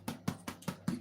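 A baked tomato focaccia is tapped repeatedly at an even pace, giving short, dull, hollow thuds that die away almost instantly. The hollow sound shows the bread is properly baked through, which a skewer test had already confirmed.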